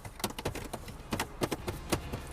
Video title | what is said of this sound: Volvo S60 - Kiểm tra ngoài thực tế và cung cấp những thông tin cần thiết về xe hơi phiên bản 2020 | It sounds really hollow when you tap it